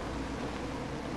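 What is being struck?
Nothing is struck.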